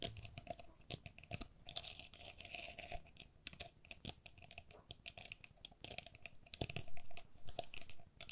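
Long nails tap and scratch the mesh walls of a hollow, empty, hand-sized pink perforated plastic pen cup with a lace pattern. The result is a quick, dense run of sharp, dry clicks and bright scratchy rasps over a low background hum, with each tap dying away almost at once.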